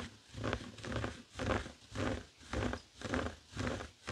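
Fingertips of both hands scratch a flat, heart-shaped woven tapestry fabric coaster lying on a wooden table. The result is a steady, rhythmic rasp of swelling strokes, about two per second, with a dull, low-heavy texture and little high-end brightness.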